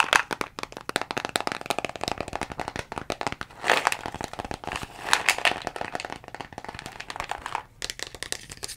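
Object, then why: Plastic bottle. A dark brown plastic Jamieson vitamin bottle with a green cap is tapped with long fingernails on its label and body. Quick, dense, crisp clicks with short crackly bursts ring bright and dry and die away almost instantly, with little low end.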